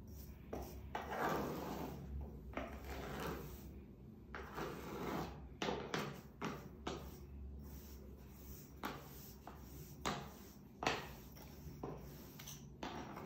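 A bare hand rubs and smooths fine white sand flat with the palm and fingertips in a large, shallow wooden-framed tray that has a black ceramic vase in the middle. Soft, gritty swishing strokes rise and fall over a faint steady low hum, with occasional sharper brushes standing out. The sand surface is left smoothed flat.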